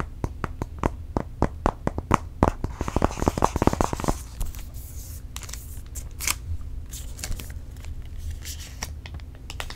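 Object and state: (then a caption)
Aluminium tablet in plastic film. A space grey iPad Air 4, its thin solid aluminium back still covered in protective film, is held in both hands and tapped rapidly with fingernails. Crisp, dry clicks come in a quick run that builds in density over the first four seconds. They then give way to softer, crinkly scratches of the film with scattered sharper taps over a faint low hum.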